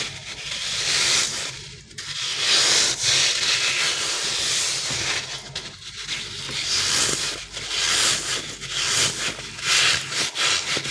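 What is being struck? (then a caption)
Soft rubber crocodile toy. A green, soft, stretchy rubber crocodile stress toy with a ridged back and a solid, gel-filled body is rubbed and squeezed with the fingertips and thumb across its textured surface. The result is a steady, bright, hissy scraping and rubbing sound that swells and fades in repeated passes, with almost no low end.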